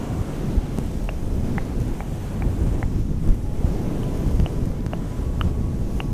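A fluffy synthetic fur microphone windscreen, soft and hollow, is scratched and squeezed with the long painted nails and fingertips of both hands. The result is a dense, muffled, low rumbling rustle, like wind on a microphone. Faint sharp clicks from the nails poke through it now and then.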